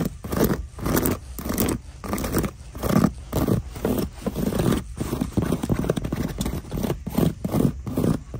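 Long nails scratch and tap the quilted upper of a black quilted faux leather winter boot sitting in its cardboard shoebox. The result is a steady run of dull, low-heavy scraping strokes in short rhythmic bursts, with soft taps mixed in and little brightness.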